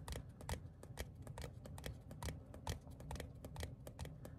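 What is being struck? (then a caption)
Thin printed paper card. Fingertips and short nails tap and scratch the face and edge of a small, thin printed paper/cardstock ticket card held upright. The result is a quick, irregular run of short, dry, bright clicks and papery scrapes over a soft low rumble.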